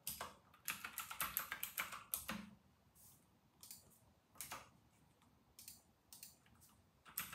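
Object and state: Plastic mechanical keyboard being typed on.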